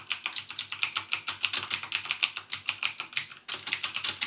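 Fingertips type continuously on a backlit mechanical keyboard with plastic keycaps and Cherry MX Blue switches, producing a steady run of sharp, bright clicks. The rapid keystrokes come about seven per second, each dying away almost instantly, with a brief pause near three and a half seconds before the typing resumes.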